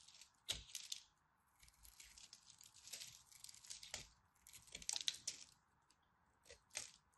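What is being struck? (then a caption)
Bar of dry soap. A craft blade scores a grid into a solid purple-and-white striped dry soap bar, and fingertips and the blade pop off flakes. Quiet, bright, dry scratching and crisp crackles come in short bursts with sharp snaps, separated by brief near-silent pauses.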